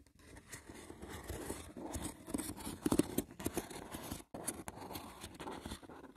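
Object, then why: Small woven wicker box with lid. Short nails scratch across the top and edges of a small, hollow, rectangular woven wicker box with a lid. The result is a dense, dry crackle of rapid scratches and light ticks with a woody, hollow body. There's a brief pause just past the four-second mark before the scratching resumes.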